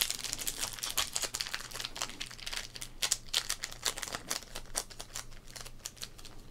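Fingertips press, rub and flex a small, sealed green foil wrapper of an O-Pee-Chee Premier sports card pack, lying flat and holding cards, on a dark wooden table. This produces a steady run of dense, bright, crisp crinkles with quick sharp peaks and almost no ring, over a faint low hum.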